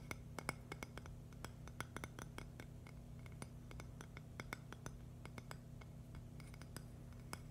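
A thin, solid purple agate slice is tapped and scratched with long nails, giving a quick run of sharp, bright clicks with a short glassy ring near 2.2 kHz. Each tap dies away almost at once, over a steady low hum.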